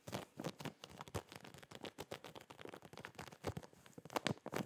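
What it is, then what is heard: Plastic zip packaging bag. Fingertips and nails tap, scratch and crinkle a clear plastic zip packaging bag holding SMILEY boxers, with a cardboard hanger header. The result is a quick, uneven run of dry, short crinkly taps and scrapes, with little ring after each one and some brighter bursts near the end.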